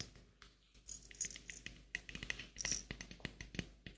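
A small glass clip-top jar with a metal clasp lid, partly filled with dried flowers, is shaken and turned while fingernails touch the glass and clasp. The result is a quiet run of bright, short clicks, taps and light rattles with a faint dry rustle.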